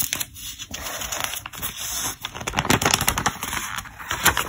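Fingertips slide over the glossy pages of an open, thick paper trade catalog and flip them. The sound is a bright, crisp rustling and crinkling with dense crackles, swelling into sharper snaps as the pages turn.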